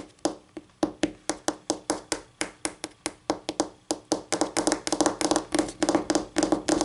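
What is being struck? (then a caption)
Laminate tabletop. Medium-length acrylic nails, pink on one hand and dark blue on the other, tap repeatedly on a flat, solid white tabletop with a faint wood-grain texture, likely laminate. Crisp, dry clicks with a mid-pitched knock and a bright edge die away almost instantly, with almost no low end. They begin as spaced single taps and speed into a dense, rapid flurry of overlapping clicks.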